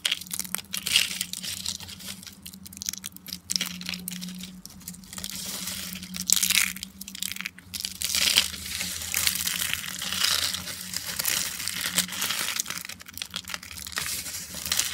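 Fingers and fists squeeze and crush a pile of thin, dry, peach-orange speckled soap slices into smaller brittle flakes. The result is a steady stream of bright, crisp crackling and crunching with dense crumbly texture, swelling in louder bursts, over a faint low hum.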